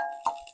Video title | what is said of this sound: Kvetun Rapier 1 Review | if I flick the actual bowl, can you hear that? See how solid that is?